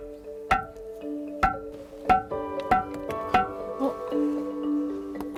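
Boulders on the rocky scree slope at Sambongsa in Miryang, known as ringing rocks, are tapped one after another, each giving a short, clear, bell-like ring at a slightly different pitch. Music plays underneath, and the stones ring like a bell as expected.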